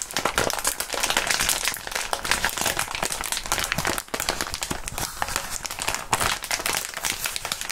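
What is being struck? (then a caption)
Plastic bubble wrap sheet. A small crumpled sheet of clear polyethylene bubble wrap, with hollow air-filled bubbles, is held and squeezed between the bare fingertips of fingerless-gloved hands. It makes a dense, continuous, bright crinkling and crackling with many quick snaps. The sound pauses briefly midway, then the steady crumpling resumes.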